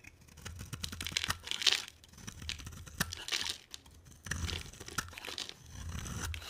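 A box cutter blade carves into a solid, palm-sized green bar of soap, shaving off curls of soap. Dry, crisp scraping and crunching sounds come in bright bursts with brief pauses between strokes.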